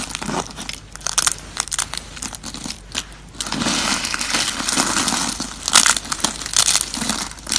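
Bare fingertips squeeze and crush handfuls of thin, dry, brittle brown soap curls and strips piled on a wooden surface. Bright, dense crackling and crumbling comes in uneven bursts, louder and fuller in the second half, with short sharp cracks standing out.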